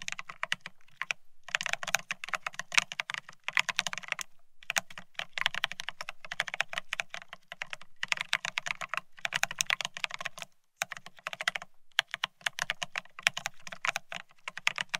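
Both hands type rapidly with their fingertips on a Bear65 mechanical keyboard fitted with blank white matte ceramic Cerakey keycaps on a steel plate, resting on white cloth. The keys give a dense stream of short, bright, clacky taps with very little ring, broken by a few brief pauses between bursts.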